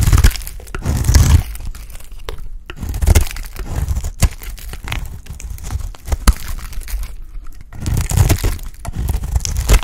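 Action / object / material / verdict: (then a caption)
scrape / bar of soap scraped with a utility blade / soap / none. A dry, solid, embossed oval lilac soap bar held in hand is scraped and shaved with a utility blade. Dry, crumbly scraping and crunching come in uneven bursts, with sharp cracks and crinkly flaking over a heavy low rumble. The bursts swell and fade throughout, with short quiet gaps between strokes.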